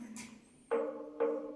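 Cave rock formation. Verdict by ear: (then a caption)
Ringing. A stone rock formation inside a cave is struck twice in a row, each strike giving a clear, bell-like ringing tone around 465 Hz with bright overtones that fades over a fraction of a second. The cave rock rings like a church bell, much like the church bells of Quiapo.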